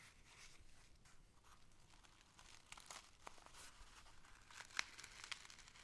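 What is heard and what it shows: A small, hollow kraft-paper gift bag with string handles and a printed paper label is held in both hands while fingertips and nails scratch and rub along its paper surface. The result is a quiet, steady, bright crinkling and scratchy rustle. A few sharper crisp ticks stand out near the end.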